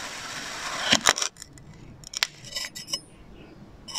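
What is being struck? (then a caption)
Kinetic sand figure sliced by a metal knife blade. A metal knife blade slices repeated diagonal cuts through a solid, palm-sized blue and orange kinetic sand figure and its orange visor. A bright, grainy scraping hiss builds over the first second, then breaks into a series of sharp, crisp clicks and short gritty scrapes. The sound is high-pitched with almost no low end.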